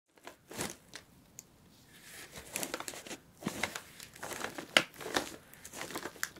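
Long pointed nails tap and scratch the taped top of a closed brown corrugated cardboard shipping box with packing tape and a paper shipping label, lying flat. The result is a run of dry, bright, crinkly scratches and sharp taps with almost no low end. Each stroke dies away at once with no ring.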